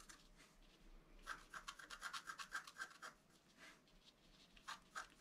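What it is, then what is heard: Scratch-art card being scratched. A pointed wooden stylus scratches a flat A4-size scratch-art card, its black coating over a colored foil layer, resting on a table. Quick, short, bright rasping strokes cluster in a rapid burst in the middle, then a few softer, isolated scrapes follow near the end.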